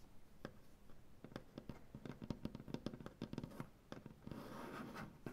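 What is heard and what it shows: Both hands with long nails tap and scratch the surface of a large solid maple butcher block tabletop. Quick, dry taps with very short ring come in an uneven run, and a softer, continuous scratching wash takes over near the end before a final tap.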